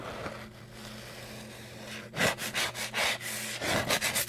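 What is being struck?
Cardboard chip canister.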